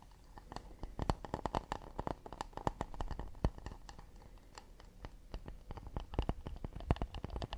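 Fingertips and nails tap quickly on the edge and back of an empty, round, hollow acacia wooden plate held in the hands. The result is a dense run of short, dry clicks and soft, low knocks that die away almost at once, with a quieter stretch in the middle before the tapping picks up again.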